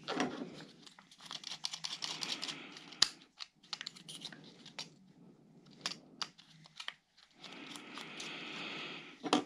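A small, rigid black plastic GoPro tube clamp mount with an arm and thumbscrew is handled by yellow rubber-gloved fingers that turn the screw. The result is quiet, bright clicking and crinkly rustling, with sharp transient clicks scattered throughout and a louder snap near the end.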